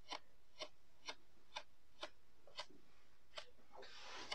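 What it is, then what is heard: Kinetic sand disc being poked. A thin blue plastic stick pokes rows of holes into a flat, solid disc of pink-purple kinetic sand pressed into a round lid on a white table. Nine short, crisp, bright clicks sound at a steady, unhurried pace. A soft, grainy rustle builds near the end before a final click.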